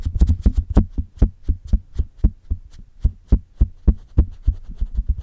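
Long red-painted nails on both hands tap and scratch the hollow metal mesh grille of a silver Blue Yeti USB microphone with a metal body. About twenty quick, deep, muffled thumps land in an irregular rhythm, each with a brief bright scratchy edge. The thumps decay almost instantly, leaving a low boomy resonance that is heavy in the bass.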